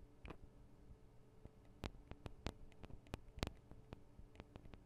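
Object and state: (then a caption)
Metal microphone capsules tapped with fingernails. Long acrylic nails tap on the tops of the small metal microphone capsules of a Tascam DR-40 recorder. The result is a quiet, irregular series of short, sharp clicks and ticks with bright edges and almost no ring, over a steady low hum.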